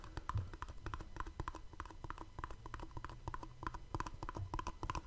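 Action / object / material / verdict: tap / small cardboard box / cardboard / none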